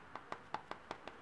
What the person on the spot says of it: if I tap it, you can hear it's a little bit more dense